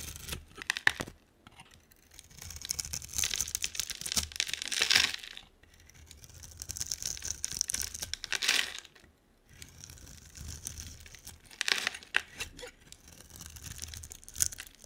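A utility knife blade scrapes and carves a solid, hand-sized purple bar soap with a black coating, curling shavings off the bar. The clip is made of bright, crisp, tearing scrapes in rapid grainy strokes, with short quiet pauses between passes.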